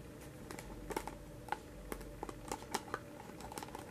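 Fingertips and nails tap and scratch the printed side of a small round "Vanilla Bean" paperboard ice cream pint with a white lid, held in one hand, then move to the lid. About 13 quiet, dry, hollow taps ring briefly around a mid-pitched tone, with soft scratching between them over a steady low hiss.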